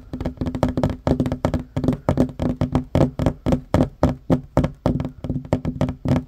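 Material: Wood.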